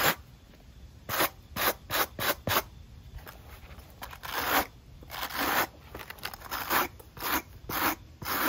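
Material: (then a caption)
Rubber. A steel wire brush with a wooden handle is scrubbed back and forth across the patterned rubber outsole of a black and white running shoe held in hand. It makes a series of short, bright, raspy scratching strokes, some quick and separate and some longer and smeared, over a faint hiss.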